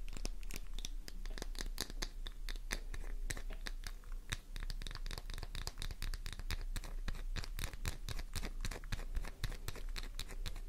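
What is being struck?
Flower-shaped bar of soap.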